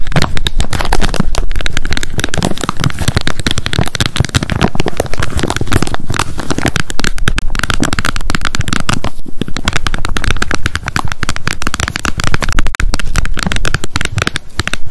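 Long nails rapidly tap and scratch the plastic lid of a handheld wet wipes pack. The result is a dense, continuous stream of fast clicks and scratchy crackle with a heavy low thump underneath, holding a steady level for the whole clip.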